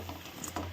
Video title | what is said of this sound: एकदा बटाटा वापरून कुरकुरीत पालक वडा किंवा झणझणीत हिरव्या मिरचीचे भजी नक्की 🤪 | बघा कसा कुरकुरीत आवाज येतोय